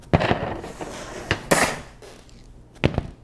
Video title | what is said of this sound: Julia Child's BRIOCHE STRAWBERRY SHORTCAKE Should Break the Internet | it makes a hollow sound when thumped